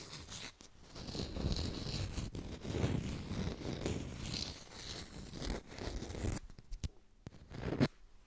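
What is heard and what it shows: An artificial yellow lemon held in the hands is tapped and scratched quickly with long pink nails. The result is a dense, dry stream of soft, low-heavy taps and scratchy rustling with a faint bright edge. After about six seconds it thins to a few sparse, quieter taps.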